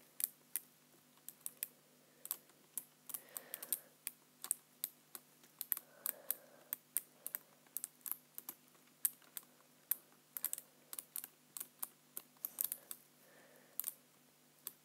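Fingertips repeatedly tap the keys of a black plastic computer keyboard, typing. About 49 quiet, sharp, bright clicks arrive in an irregular rhythm, each stopping almost instantly, with occasional softer mid-pitched thumps under clusters of keystrokes.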